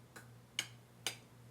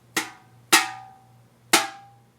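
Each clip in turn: First: heavy speaker magnet that does not ring. Second: empty aluminium can ringing.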